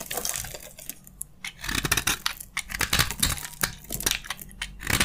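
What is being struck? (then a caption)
Soap bar scraped with a metal blade. A metal utility blade scrapes and shaves crunchy flakes from a narrow, solid, dry beige soap bar held in the hand. Bright, dry scraping and crackling bursts come in quick, uneven strokes, with short crisp snaps that die away almost at once.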